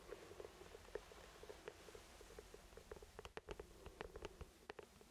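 An orange hollow plastic traffic cone, about 30 cm tall with the word CALM written on it, is held in both hands and tapped and rubbed with the fingertips. Quiet, soft fingertip taps and scratchy rubbing patter along with a hollow plastic tone around 420 Hz. Past the midpoint the taps grow sharper and louder, each dying away almost at once.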